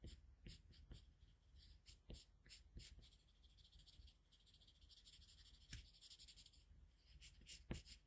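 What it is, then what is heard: Pencil drawing on paper. A colored pencil held in a metal extender between the fingers draws scratching line strokes across a flat white paper sheet. The quiet, dry scratches come in short bright bursts of hiss with a soft low rumble beneath, and a few strokes land sharper and louder than the rest.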